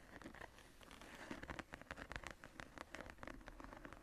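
Long nails and fingertips scratch the floral relief of a tooled brown leather cover on a closed journal lying on a table. The result is a quiet, dry scratching patter of rapid short strokes with faint crackle and little ring.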